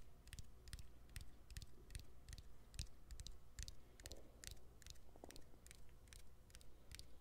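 A hand-sized smartphone with its back cover removed, showing the battery and plastic frame, is tapped by fingernails on the battery and frame. Quiet, quick clicking taps with bright tops and a low thump sit over a steady low hum. They come at an uneven pace and die away almost instantly.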